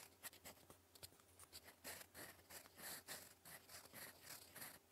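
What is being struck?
Paper sheet scratched by a metal pen nib.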